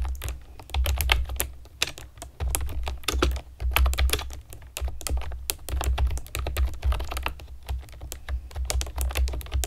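Long nails and fingertips type on a pastel plastic keyboard with round keycaps, making a rapid, uneven stream of sharp, bright plastic clicks and taps. A steady low hum sits underneath throughout.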